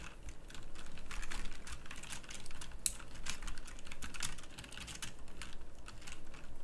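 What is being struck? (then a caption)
Mechanical keyboard with round plastic keycaps. Fingertips type fast on a full-size backlit pink mechanical keyboard with round plastic typewriter-style keycaps. A dense, steady stream of sharp, bright clicks and clacks runs throughout, with no pauses, over a low, constant rumble.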